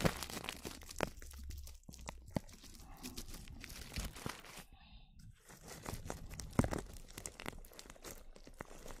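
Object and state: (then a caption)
Plastic cling film. Clear plastic cling film wrapped around a microphone is brushed with a small black-handled brush, producing close, dense crinkling and crackling with scattered sharp snaps. The rustle runs almost continuously, with a brief quieter pause midway.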